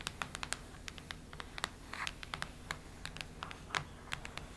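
Long red nails scratch and tap across the cardboard cover of a cactus-print hardcover notebook. Quick, bright scratchy clicks come in a dense run over a low steady hum, with a brief brushing swipe in the middle.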